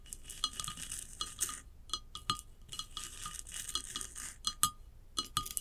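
A tall hollow ceramic vase lying on its side is tapped and scratched with long acrylic nails across its glossy glaze and rough unglazed band. Quick, bright clicking taps mix with dry, hissy scratching, each tap leaving a brief ringing tone around 1.2 kHz that fades almost at once.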